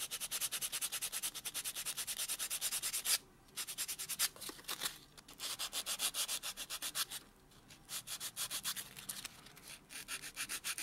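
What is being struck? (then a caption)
Fingernail rubbed with a foam buffer block. A white solid foam buffer block is rubbed back and forth over a natural thumb nail. Quick, even strokes make a bright, dry, scratchy swishing, broken by a few short pauses before the buffing resumes.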